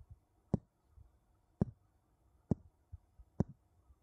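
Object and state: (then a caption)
Wooden bowls tapped together. Two wooden bowls are tapped against each other, giving four short, dull knocks at irregular intervals. Each knock is low and hollow-sounding with almost no ring, with faint softer bumps in between over a quiet background.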